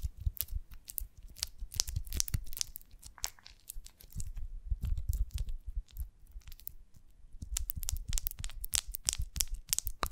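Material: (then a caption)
Beeswax. Long nails scratch and tap the cells of an oval beeswax honeycomb on a branch, its glossy, honey-soaked waxy surface held in both hands. Dense bursts of sticky crackling and crinkly clicks with bright, high ticks alternate with quieter pauses. Each tap dies away almost instantly.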